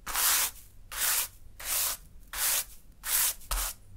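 A hand sweeps a small natural-fiber broom into a small heap of fine pink sand on a dark surface. Six bright, hissy brushing strokes are heard, each a soft rubbing swish separated by short pauses, and the last one arrives quickly with a brief low thump.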